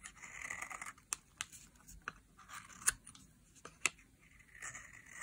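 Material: Soap.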